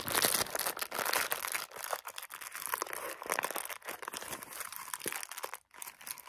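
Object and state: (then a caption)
Plastic-wrapped soap bar. Fingertips press and crinkle the clear plastic shrink-wrap around a solid bar of soap that carries a round label. The result is a dense, continuous run of sharp, bright crinkles with almost no low end, each one dying away quickly. The crinkling keeps going, briefly falling silent just before the end before it resumes.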